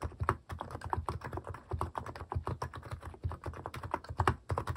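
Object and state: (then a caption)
Plastic mechanical keyboard. Fingertips type quickly on a cream plastic mechanical keyboard fitted with plastic cat and paw keycaps. It makes a steady, rapid run of short, dull clacks with a deep, low-heavy body and almost no ring. Each stroke stops sharply before the next.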